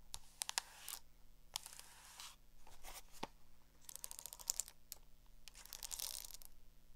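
Long acrylic nails tap and scratch the cover and metal spiral of a small black hardcover spiral notebook. Sharp, bright clicks come in quick clusters between rasping, high scratching bursts over a faint steady low hum.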